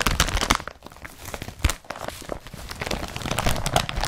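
Fingertips of both hands scratch and crumple the woven fabric of an empty blue woven polypropylene IKEA BRATTBY carrier bag with straps. The result is a dense, irregular stream of crinkling and crunchy rustles, with bright scratchy bursts over a low, soft rumble and a few sharper crunches standing out.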